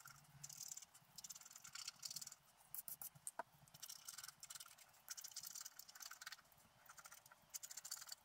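A wooden stylus scratches the black coating of a flat scratch-art paper sheet resting on a table. Soft, bright, dry scratching comes in short, irregular bursts with brief pauses between strokes, with almost no low end.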